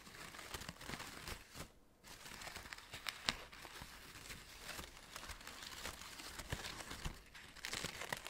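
Fingertips pinch and crinkle the red-orange synthetic fabric petals of an artificial orchid on an artificial stem, held close. A dense, bright crinkling and rustling plays steadily, broken by short sharp crackles and a brief quiet gap near two seconds.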